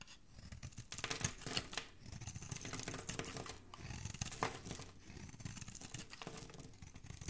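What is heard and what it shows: A metal utility blade carves and scrapes a solid, palm-sized green bar of soap held in one hand, shaving the soft soap into curls and cubes. The result is a dense, continuous crisp scraping and tearing texture with a soft low body and a bright hiss on top. Stronger strokes swell out near the start and again around the middle.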